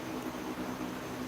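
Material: Nothing is struck.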